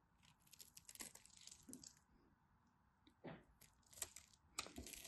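A craft knife scores and scrapes crunchy flakes from a dry, solid purple and white striped bar soap held in the hand. Quiet, bright, crisp scratching and crunching bursts come in uneven runs, with a few sharper clicks toward the end.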